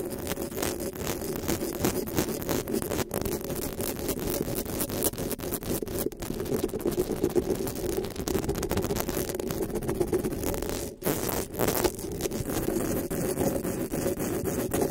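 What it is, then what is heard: Metal mesh microphone grille. Long pink nails scratch and tap across the metal mesh grille of a black desktop microphone, making a steady, dense scratching with quick rattling taps. The sound centers on a low-mid hum around 330 Hz, with brief dropouts near 3, 6 and 11 seconds.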